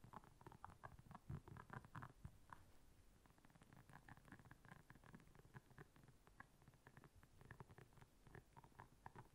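Long nails scratch across the soft bristles of a round, flat, blue solid silicone scrubber pad lying on black fur. A quiet, steady stream of rapid, muffled, rubbery scratches and soft ticks continues throughout, weighted toward low tones with little brightness.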